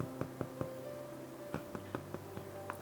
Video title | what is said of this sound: 🍞 РЖАНОЙ ХЛЕБ, который всегда получается! Мягкий внутри, хрустящая корочка | Вот такой глухой звук хлеб издает. Значит, он полностью пропекся.